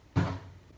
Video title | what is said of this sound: How To Service your Wheel bearings & Hand brake on a L/C 105 | you'll hear the different noise it'll be solid